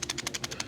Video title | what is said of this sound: SOLGW - What is the A5 system? And why do we use it? | another interesting aspect of this is if you take a standard buffer and you shake it you can hear those weights bouncing around back and forth